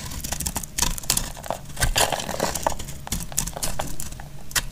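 A utility knife blade scrapes and shaves crisp flakes off a solid, hand-sized bar of dried red soap held in the hand. Dense, dry crackling and crinkling scrapes come in quick bursts, with bright, sharp edges over a low rumble.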